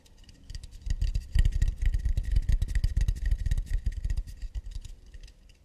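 Fingertips tap and scratch quickly on an acacia wood plate. Dense, uneven taps give soft, dull low thuds with crisp clicks on top, dying away almost at once. The tapping swells in the middle and fades out at the end.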